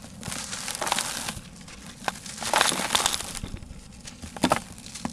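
Fingertips, on wrists wearing bangles, rub and scratch the surface of a large, dry, rectangular grey sand-cement block that is solid and crumbly and held in a blue tub. Dry, gritty scraping and crunchy crackles come in uneven bursts, bright and hissy with little low end, as loose grit falls away.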